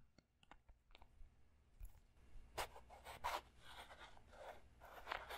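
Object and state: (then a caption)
Clear plastic puzzle cube. A small transparent plastic Rubik's-style puzzle cube with printed stickers is held in both hands near the mic while fingertips and short nails scratch, tap and twist its faces. Sharp, dry clicks and taps come first, then louder rasping scratch-and-twist bursts with bright, crackly plastic texture, all quiet and close.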